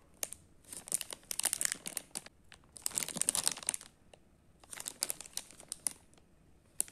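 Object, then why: Metallized plastic foil snack packet. Fingertips crinkle and turn over a single small, hollow, sealed Sealleys Choco Ball snack bag made of metallized plastic foil, full of chocolate balls, then begin tearing at its top corner seal. Bright, crisp crackling comes in three dense bursts separated by quiet pauses, with a final sharp snap at the end. Other unopened packets lie still nearby.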